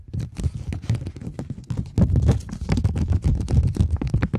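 A polymer £20 banknote is held taut in both hands while long nails scratch across it and it is crinkled. The result is a dense run of short, dry scratches and crackles that are close and low-heavy, with brief rustling flecks reaching up high.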